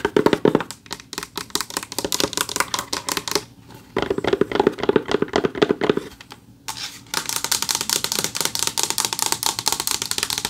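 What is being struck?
Flat rectangular award plaque with textured backing board.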